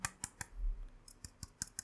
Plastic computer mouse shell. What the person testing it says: kalau di ketok nih ini dia terasa nggak terasa kayak kopong gitu ya